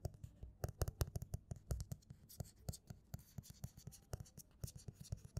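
Fingertips and nails rub, scratch and tap the glossy front cover of a closed paperback novel, "No Humans Involved," lying flat on a table. The result is a quiet, steady stream of short, dull taps with a soft low thump, mixed with brief bright scratchy brushes that die away at once.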